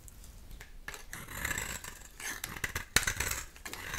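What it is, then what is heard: Dry bar soap being cut and scraped. A dry rectangular bar of soap with a black outer shell and an olive-green core is cut and shaved in the hand with a utility knife blade. The result is a series of dry, bright scraping and crackling strokes with a sharp snap near the end.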